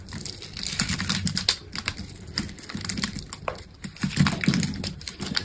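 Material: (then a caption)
Soap. A steel utility blade scrapes cubes off the grid-scored surface of a solid green soap bar with a red coating. Quick, crisp scraping clicks and crackles come in a dense, bright stream, over a steady low rumble.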